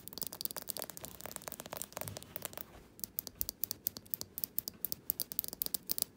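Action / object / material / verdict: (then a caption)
tap / small glass jar candle filled with wax / glass / none. Fingernails tap and scratch the glass sides and the paper label on the bottom of a small glass jar candle filled with solid wax, held in the hands. Quick, bright clicks mix with dry scratching for the first few seconds, then a brief lull gives way to a steady run of sharp, crisp taps. Each tap is very short and dies away at once.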